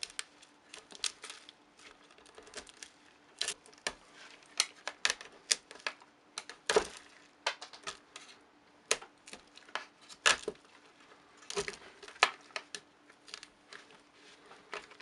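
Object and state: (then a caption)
Metal wax jug being scraped clean. A gloved hand scrapes the inner wall and rim of a round, hollow metal wax melting pouring jug, now mostly empty with leftover wax crumbs, using a metal scraper or knife to remove thin wax residue. Many short, sharp, bright scraping clicks and ticks come in irregular bursts with almost no ring, over a faint steady low hum.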